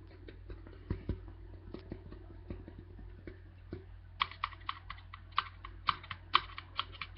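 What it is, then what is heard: Aluminium drink can. A single tall white Archers aluminium drink can, hollow, is held up and tapped and scratched with the fingertips and nails. Soft, quick, irregular taps and faint scratching are heard at first. In the second half the taps become sharper and brighter, with a short metallic ring.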